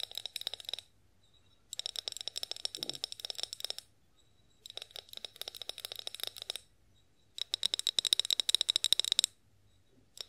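Long acrylic nails tap and scratch on a tall, clear glass olive oil bottle with a pour spout, held upright and partly filled with oil. Four bursts of rapid, crisp clicking taps, separated by short pauses, carry a bright glassy ring near 3.8 kHz. The sound is almost entirely high-pitched, with no low end.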